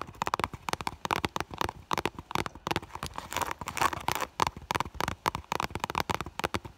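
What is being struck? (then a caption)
Clear PVC vinyl bag. Long nails rapidly tap and scratch the front of an iridescent, holographic clear vinyl (PVC) school bag called "Minni," which has a fur heart patch and a small item visible inside. The result is a fast, dense run of short, crisp plastic clicks centered around 1 kHz, with brief scratchy swipes in between.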